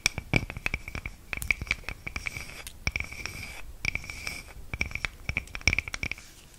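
Long nails scratch the cut face of a round, flat, palm-sized solid wood slice coaster held up in the air. The result is a quick run of dry, bright scratching strokes and ticks with almost no ring, over a faint steady tone near 2.4 kHz.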